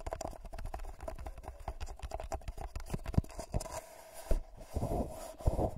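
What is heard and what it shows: Fingertips and short nails scratch and tap the foil surface of a hollow, empty gold-foil paper cup held over a Tascam mic. Quick crinkly scratches run together with soft, dull taps, mostly low and close, with a few sharper knocks standing out near the end.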